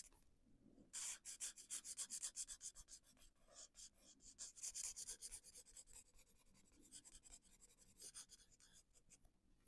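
A felt-tip marker is rubbed in repeated coloring strokes across a printed paper coloring page lying flat on a board on a wooden table. Quick, bright scratchy swishes come in bursts at roughly four strokes per second, louder in the middle of the clip and fading softer toward the end.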